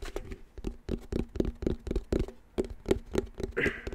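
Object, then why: Plastic back panel of a round wall clock. Fingertips tap and patter on the hollow black plastic back panel of a round wall clock. The result is a quick, irregular run of short, dull knocks with a hollow low-mid tone around 380 Hz and almost no ring. Near the end comes a brief, softer brushing sound.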